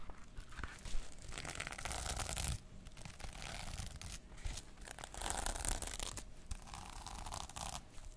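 Long nails scratch across the plastic sequin cover of a small notebook and rub along its white page edge. The result is dry, scratchy rustling in uneven bursts that sound almost like tearing, with a low rumble underneath.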